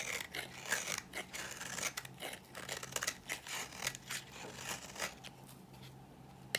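A dry pink oval bar of solid soap is held in the hand and scraped with a utility knife blade. The result is a rapid series of dry, bright scratching and crumbling strokes that rise and fall in loudness with a faint low hum underneath.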